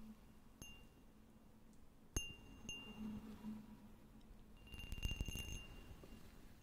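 A small, clear, hollow and empty cut-glass cup is held in one hand and tapped with the fingernails of the other hand. A few scattered taps give short, bright glassy clinks with a faint high ring, then a quick flurry of taps follows near the end. A low, steady hum runs underneath throughout.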